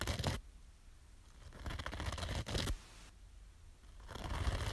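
Long nails scratch across the green abrasive top of a small yellow foam kitchen sponge with a scouring layer. Rough, bristly scraping comes in irregular bursts with quiet gaps between them. The scratching has a heavy low rumble under a brighter, gritty hiss.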